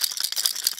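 A plastic fishing lure is shaken, and the rattles inside make a quick, bright clicking, almost entirely high-pitched with no low end. The rattles are there to imitate sick and flying fish.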